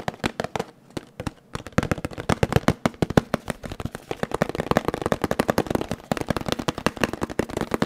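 A small, hollow, blue printed cardboard box held close to the mic is tapped quickly with fingertips. It gives a rapid stream of short, dry, hollow taps with a low-mid body and little brightness. After a brief pause near the start, the tapping runs steady and dense to the end.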